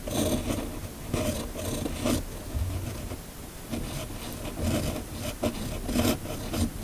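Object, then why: Steel pen nib on a sheet of paper. The steel nib of a red fountain pen, held in a hand, scratches steadily across a flat, thin sheet of white paper while writing cursive text. Short rasping, scratchy strokes come in uneven bursts, each with a bright papery hiss over a soft low rumble.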